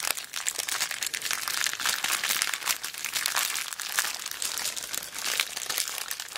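A small clear plastic zip bag full of colourful beads is held upright and squeezed and crinkled with long black nails. The result is a continuous, dense crinkling and crunching, bright and hissy with almost no low end, rising and falling in quick ragged bursts throughout.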